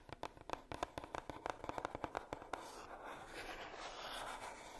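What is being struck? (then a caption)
Heart-shaped cardboard box. Long nails tap quickly on the lid and edge of a hollow, red heart-shaped coated cardboard box, making about eighteen sharp, hollow clicks with a knocking tone near 730 Hz over the first two and a half seconds. After that, the taps give way to a steady, soft scratching rustle that lasts to the end.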